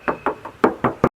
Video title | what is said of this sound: SPILL MOBIL ERTIGA PALING IRIT- ERTIGA HYBRID SPORTY A/T 2022 | Aku bakal tes ketuk. Tuh, masih kedengeran banget kalengnya.